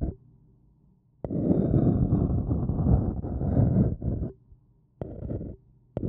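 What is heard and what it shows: A thin wooden stick scratches the outer wall of a small, hollow, empty white printed paper cup held in one hand. It makes a dense, hollow, low rumbling scrape that runs for about three seconds. After a pause, a shorter scrape follows, and another begins at the end.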